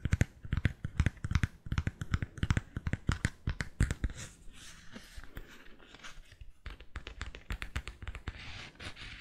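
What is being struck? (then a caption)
Cork-soled sandal with straps. Fingernails tap and scratch along a white-strapped sandal with a cork footbed and a brand-printed sole edge. Rapid, irregular, dry taps with a low thump alternate with brighter scratching that grows softer and denser toward the end.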